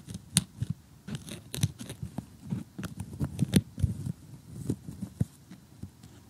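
Metal tweezers poke and pick at loose pieces in the blue sky section of a glossy cardboard jigsaw puzzle while fingernails rest and tap on it. The result is a dense, irregular run of short, dry clicks, crunches and taps with a soft low body and bright crisp edges that stop dead with no ring.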